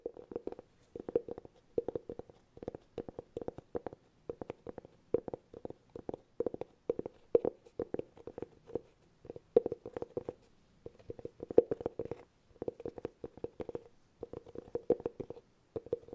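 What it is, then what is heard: Hollow cork container. Fingertips scratch and tap the flat face of a round, hollow cork cylinder. Quick clusters of soft, dry taps and scratches carry a hollow, boxy resonance around 470 Hz. Each tap dies away almost instantly, and short pauses separate the bursts.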